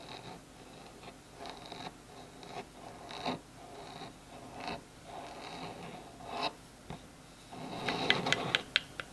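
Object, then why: Bamboo wood phone stand. Fingertips and nails scratch and tap the surface of a small solid bamboo wood phone stand lying on a table. Quiet, airy scratching strokes come in bursts, then a run of brighter, sharper taps clicks out near the end.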